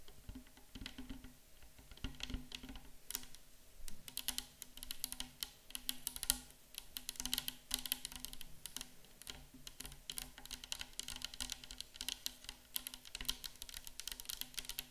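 A tall, clear plastic 500 ml micellar water bottle, mostly full of pink-orange liquid and standing on a wooden table, is tapped on both sides with long pink-and-white acrylic nails. The result is a steady stream of quick, bright, dry clicks with almost no ring, over a faint low hum.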